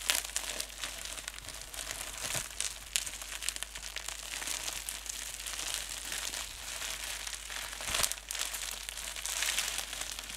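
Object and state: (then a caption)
Plastic bubble wrap being crumpled. Clear polyethylene bubble wrap, a thin flexible sheet with air bubbles, is bunched up and crumpled in both hands with fingertips and nails. It makes a steady, dense, bright crinkling with sharp crackles throughout and little low end.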